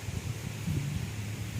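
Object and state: Nothing is struck.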